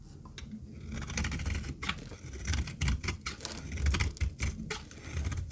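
A metal knife blade shaves and cuts a rectangular, solid, dry yellow retro soap bar held in the palm, and dry flakes fall off. It makes a run of crisp, irregular scraping crackles with bright high edges over a low rumbling body, each stroke dying away quickly.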